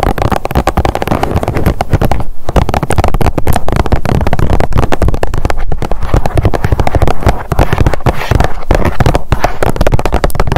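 Long nails tap rapidly on a blue plastic sunscreen tube lying on a mat. The result is a dense, continuous run of short, dry plastic clicks with almost no ring, heavy in low thuds and with little brightness.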